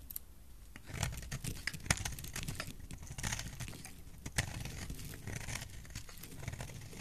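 A solid blue soap bar held in the hand is carved with a utility knife blade, producing a steady run of soft scraping and shaving sounds. Brief crisp clicks of the blade cutting in stand out over a low, muffled handling rumble, with sharper cuts around two and four and a half seconds.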